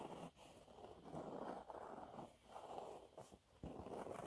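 Fingernails scratch a thin, flat, yellow textured cellulose sponge cloth, making dry, rasping scratches in repeated strokes. The sound is centred in the midrange, with little bass and little high end, and brief dips between strokes.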